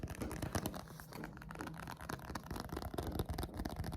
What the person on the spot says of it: Listen to that spine. That's a nice sound.